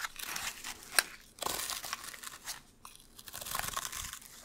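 Long hard fursuit claws scratch and rake along the fibers of a small sisal-rope-wrapped cylinder scratching post held in one hand, close to the microphone. The result is bursts of dry, crunchy, crinkling scratches that are bright and hissy with almost no low end, plus a sharp click near the start.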